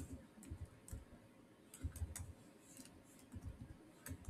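Fingertips type and click on the solid keys of a black plastic chiclet keyboard on a silver Samsung laptop. The keystrokes are quiet, irregular taps with a soft low thump and brief, faint bright clicks that die away almost instantly.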